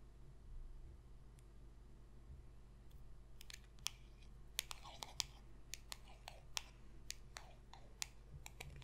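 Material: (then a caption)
Cardboard. A small, thin, solid glossy cardboard trading card, No. 27, is tapped and clicked along its edge and face with long pink acrylic nails. After about three seconds of quiet low background hum, a run of sharp, bright, very short clicks follows at an irregular pace until the end, each one dying away almost instantly.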